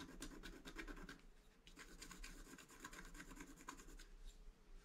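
A wooden stylus rubs and scratches the upper right motif of a flat, black-coated scratch art card while the other hand holds the card. The result is a steady run of short, dry, bright scratching strokes over a low background hum.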